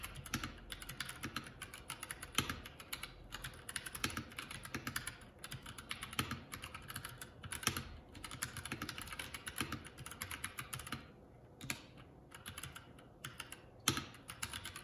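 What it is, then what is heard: Plastic mechanical keyboard being typed on. Both hands' fingertips type continuously on a Keycool K84 75% mechanical keyboard with plastic keycaps, producing a steady stream of quick, bright clacks with short, dry decays. The typing briefly thins out around the eleven-second mark before resuming, with a few sharper keystrokes standing out.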